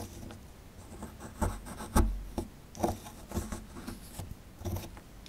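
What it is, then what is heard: Plaster excavation block being scraped. A small solid plaster excavation block, held in the hand, is scraped with a metal pick tool. Short, gritty scraping strokes come in uneven bursts over a low, dull rumble, each dying away almost at once.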